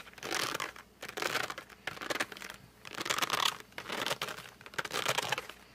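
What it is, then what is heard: Cardboard pencil box rubbed with fingertips. Fingertips and short nails grip and rub the glossy front of a flat cardboard colored pencil box lying down. Six bright, squeaky, crinkly rubbing bursts are heard, separated by short quiet pauses, with almost no low end.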